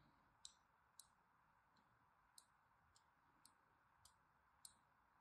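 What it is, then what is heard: Bar soap being scored. A thin, needle-like blade scores fine lines into the top edge of a solid orange-and-white striped bar of soap held in the hand. It makes eight short, crisp, bright clicks spaced unevenly over a steady low hiss, each one dying away almost instantly.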